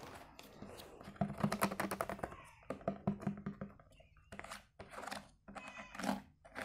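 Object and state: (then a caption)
Hollow plastic food container stack. A medium-size stack of empty, hollow, nested translucent white plastic food storage containers with lids and a sticker label is held in both hands and tapped with fingertips. The taps come in fast, keyboard-like bursts of short, dry clicks with a hollow low tone near 200 Hz and almost no ring, separated by brief pauses.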